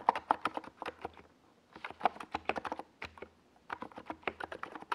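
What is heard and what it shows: Both hands type with their fingertips on a NiZ Plum Atom 68, a compact 68-key mechanical keyboard with a hollow white plastic case and purple and yellow Domikey Gas Attack plastic SA keycaps, resting on a desk pad. Three bursts of quick, clacky keystrokes are separated by brief pauses, each click sharp and dry with a mid-pitched body around 930 Hz and almost no ring.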